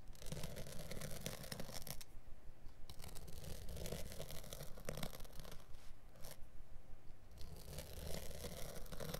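A blade tip is dragged along the light woven/felt backing on the underside of a small carpet piece held flat by one hand, scoring and scratching it. Rough, bright rasping strokes repeat steadily over a low rumble, with two brief pauses where the scratching drops away before resuming.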